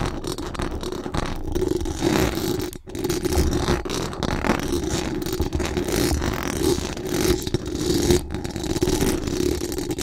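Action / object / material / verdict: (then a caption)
scrape / metal mesh microphone grille / metal mesh / none. Very long acrylic nails scratch fast across the hollow metal mesh dome grille of a large condenser microphone, making a dense, continuous rasping scrape with a heavy low rumble and a steady hum-like tone around 355 Hz. The scratching runs almost without pause, briefly dropping out near 2.8 seconds and again just after 8 seconds.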